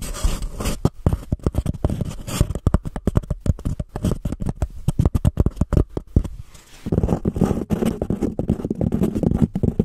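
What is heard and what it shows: Long painted nails scratch the sides of a small, empty, white embossed paper cup held over the microphone. The result is a rapid run of dry, close scratching strokes with a heavy low thump and little brightness, pausing briefly near the middle before continuing in a denser, steadier rustle.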